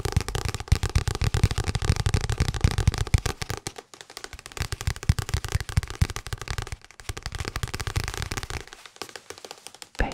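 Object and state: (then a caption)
Paperback book. Fingertips tap rapidly on the card cover and edges of a small Pride and Prejudice paperback, a solid paper book held in one hand near the microphone. The taps are dry, short and low-pitched, heaviest and most continuous in the first few seconds. They then soften into lighter, scattered taps after brief pauses.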